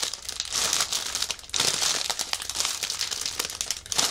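A large, soft, clear plastic bag wrapped around a white fabric-like prop lies on a table while fingertips press and pat it. This produces steady, bright crinkling and rustling that swells and fades, with a sudden louder burst at about 1.5 seconds.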